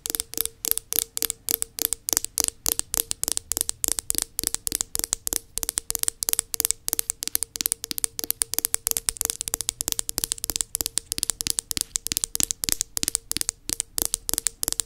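Long nails rapidly tap and scratch the black plastic base of an upturned body butter tub, which has a sticker on it. The result is a quick, steady stream of dozens of sharp, bright clicks that stop almost instantly, with light scratching between them and a faint steady tone near 450 Hz underneath.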